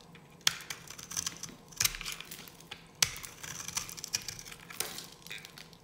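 A dry yellow bar of soap held in the hand is scraped and cut with a metal knife blade. The result is dry, crisp, bright scratching and crumbling sounds, with sharp clicks between softer rasping passes.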